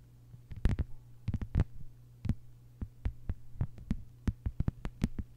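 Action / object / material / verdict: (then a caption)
tap / thin plastic cutting mat / plastic / none. Long white-polished nails of both hands tap a thin, solid, flat lime-green plastic cutting mat lying on a table. About twenty short, dry clicks with bright, crisp tops come in uneven bursts and quick pairs, each dying away almost instantly over a steady low hum.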